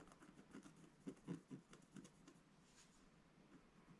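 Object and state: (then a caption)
Scratch art card being scratched. A wooden stylus scratches across the upper and middle areas of a flat, black-coated scratch art card. Seven short, soft, dry scratches stand out over a quiet, steady rasp, with most of the energy low and little brightness. Each stroke dies away almost at once.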